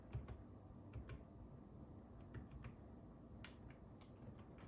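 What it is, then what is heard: Plastic computer keyboard. Fingertips of both hands tap the hollow keys of a black and silver ergonomic plastic computer keyboard resting on a wooden table. Quiet, irregular clicks of typing come in short bursts, each tap brief with a bright edge, over a steady low rumble.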